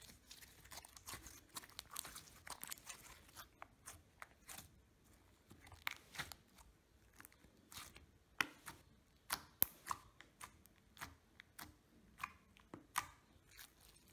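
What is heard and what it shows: A handful of soft green fluffy slime is squeezed, kneaded and pressed with the fingertips of both hands on a table. It makes quiet, crunchy popping and crackling sounds: dense clusters of short, bright pops at first, then sparser, sharper pops that stop without ringing.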